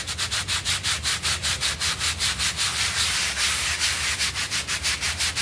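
A stiff-bristled hand brush scrubs a small, rectangular, blue synthetic pile rug that lies wet and foamy on a tiled floor, held flat by one hand. Quick, steady back-and-forth strokes make a bright, bristly, wet hiss, with a soft low rumble underneath, at about two to three strokes per second.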